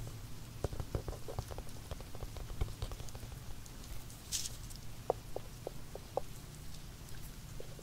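Fingertips and the rubber eraser end of a pencil tap on a small, hollow, zippered hard-shell earphone case with a glossy carbon-fiber-pattern shell, held in the hand. The taps are soft, quick and dull, with a hollow tone around 500 Hz, over a low background rumble and a brief hiss partway through.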